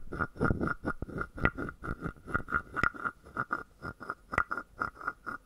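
A palm-sized, hollow carved wooden frog guiro has a wooden stick rubbed and tapped across its top, producing 24 short, dry clicks and scrapes. Each stroke carries a hollow, woody tone near 1.4 kHz over a low rasp. The strokes come in a steady, uneven rhythm with very little ring between them.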